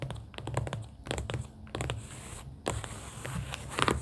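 Long pink acrylic nails tap on the inner cardboard panels of an opened cardboard booklet holding round paper sticky notes. The result is a quick, uneven series of soft, dull taps with a low, papery body and short bright clicky edges, each dying away almost at once. Faint scratchy brushing runs between the taps.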